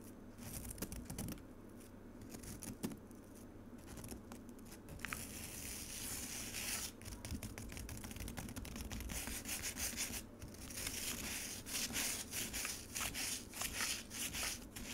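Long acrylic nails dig into and scratch frozen pomegranate juice in a white plastic container, leaving nail marks and shavings. The sound is a run of quick, bright, gritty scrapes and rasps in irregular bursts over a faint steady low hum, growing denser and louder toward the end.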